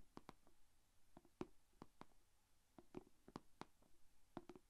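Long painted fingernails tap and scratch on the closed lid of a small, shallow, rectangular clear plastic food container holding glitter slime. Quiet, sharp clicks with a hollow, mid-pitched knock land in an uneven rhythm, each dying away almost at once, with faint scratching between them.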